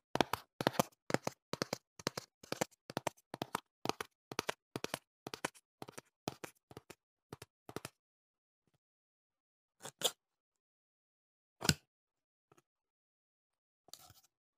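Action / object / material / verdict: tap / cardboard box / cardboard / none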